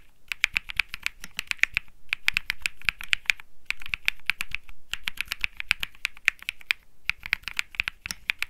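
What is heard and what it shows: Fingertips type on the plastic keycaps of a compact mechanical keyboard with an aluminum case and PC plate. The clicks are crisp and bright, centered around 2.5 kHz, and come in quick bursts separated by short pauses. Each keystroke stops almost instantly with no ring.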